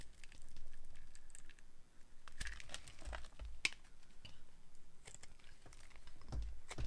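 A dry, solid translucent yellow glycerin soap bar is held in hand and carved with a metal blade that shaves off small crunchy cubes. Crisp crackling and crunching scrapes come in quick bursts, with a few sharp bright clicks over a low, soft rumble.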